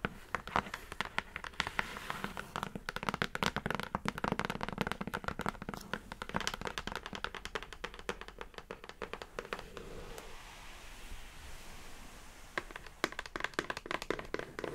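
Long acrylic nails tap rapidly on the top and sides of a hollow brown kraft cardboard mailer box, making a dense run of quick, dry, hollow clicks. The tapping eases into a softer, quieter stretch with a low hum around ten seconds, then sharp taps return near the end.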